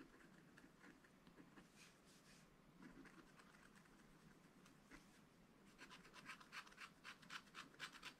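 A pointed wooden stylus held in the fingers scratches small lines into a fish on a black wax-coated scratch art page in a spiral-bound pad lying flat on a table, revealing the colored layer underneath. Soft, dry, papery scraping strokes are heard, quiet and sparse at first, then faster, brighter and more rhythmic short scratches toward the end.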